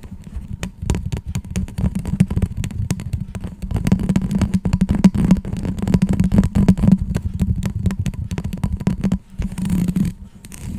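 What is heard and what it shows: A white, hollow, flexible ribbed plastic tube about 30 cm long, held in both hands, is scratched along its ridges with long acrylic nails, then rests against a fluffy mic cover. The result is a fast, dense run of dull clicks and rasps with a low, buzzing tone and a lot of low-end weight. It briefly drops quieter near the end before the scratching picks up again.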